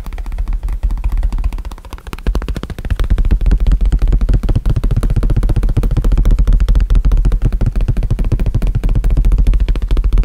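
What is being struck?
Small leather bifold wallet.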